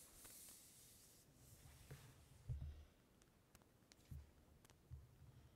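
Fingertips with long nails scratch and tap the glossy paper cover of a closed ELLE magazine lying on red fabric. A soft, bright hiss of scratching opens the clip, followed by four quiet, low, dull taps. Thin, sharp ticks sound between the taps.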